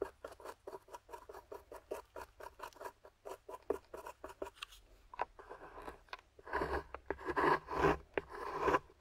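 A metal pick with a wooden handle scrapes a grey plaster block with yellow fossil bits, while long-nailed fingers steady the block. A quick, even run of short, dry scratches comes first, then the strokes grow longer, rougher and louder toward the end.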